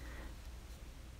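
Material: Nothing is struck.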